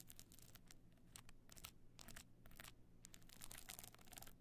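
Long nails scratch the pebble-chip covered face of a stone-chip covered box clutch standing on end with its frame slightly open. Quiet, dense bursts of bright, gritty scratching and crinkling rise and fade over a steady low hum.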